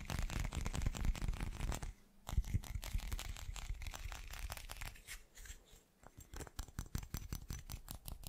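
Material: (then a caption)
Glass. A hand-sized solid chunk of translucent teal glass is rapidly tapped and scratched on its faceted surfaces with fingertips and short nails. The result is a dense, uneven stream of short, dry clicking taps mixed with scratchy rasps, heavy in low thumping body with only a little brightness. Two brief lulls interrupt the tapping, at about 2 seconds and near 6 seconds.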